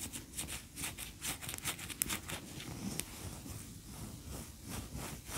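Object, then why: Wax pillar candle. Long fingernails scratch and tap a large, cream-colored solid wax pillar candle standing upright. Soft, dry scraping strokes repeat in quick bursts with bright, hissy edges over a low rumble. A few sharper, clicky taps stand out.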